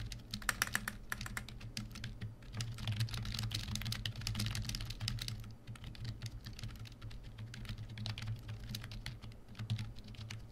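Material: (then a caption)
Plastic. A full-size black plastic membrane keyboard, the Coxi KB1388, sits on a desk and is typed on continuously with the fingertips of both hands. Quick, dry, soft plastic clicks and clacks come in dense, uneven bursts over a steady low hum.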